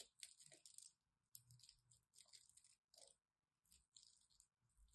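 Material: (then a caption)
Soap. A craft knife carves the edge of a solid green and white striped bar of soap, letting chunks fall away. Quiet, bright, crisp scraping crunches come in short bursts with brief silences between them, each cut sounding dry and crumbly with almost no ring.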